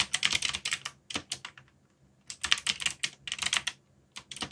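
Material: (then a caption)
Plastic. Fingertips type on a backlit mechanical keyboard with black plastic keycaps. Bursts of quick, bright clicking keystrokes are separated by short pauses, and each click stops sharply with almost no low end.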